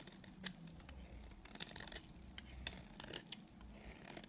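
A solid, dry white bar of soap held in the hand is shaved along its edge with a utility knife blade. Quiet, bright, dry scrapes and crisp flicks repeat throughout, with no ring after each stroke.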